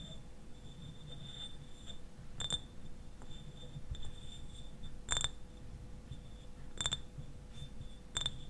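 Fingernails tap and scratch the sides of a clear glass eyewash bottle that stands upright and is partly filled with liquid. Sharp, bright glassy clicks with a short ring near 3.6 kHz stand out over quieter scratching and a low rumbling background.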